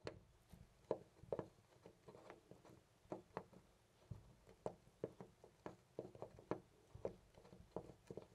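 Fingers jiggle and rattle a loose brass-colored metal knob on a white interior door, producing an irregular series of about 19 short, dry clacks and rattles. The hits are quiet, with a low-mid knock near 460 Hz and almost no ring.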